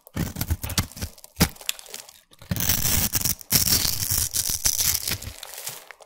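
A hand-sized solid orange bar of soap, held in one hand, is scraped across its face with a utility knife blade, shaving it into crumbly grated flakes. The sound is a dry, crackling scrape with bright, gritty texture. Short bursts in the first half give way to longer, denser passes of shaving.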